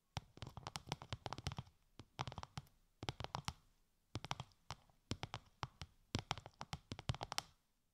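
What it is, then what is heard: Textured plastic sheet tapped with nails. Long light-grey nails tap rapidly on a translucent, bubble-textured plastic sheet wrapped over the ears of a 3Dio binaural microphone. Quick, dry, crinkly clicks come in several separate bursts with short pauses between them. Each tap has a dull low body and a bright, crisp edge, and dies away almost at once.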